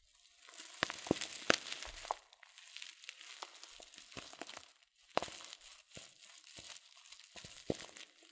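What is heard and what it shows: A filled, glossy coated-paper loose-leaf tea packet is squeezed and crinkled by fingers. The result is a steady, bright crinkling with many sharp, irregular crackles and snaps, a few louder than the rest, over a soft rustle.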